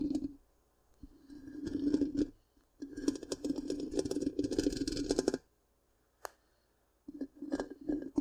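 Long pink-painted nails on both hands scratch the black, round, hollow metal mesh grille of a large microphone. Bursts of dense, rasping scratches carry a low hollow resonance, separated by near-silent pauses and a single sharp click. The scratching then resumes in shorter bursts.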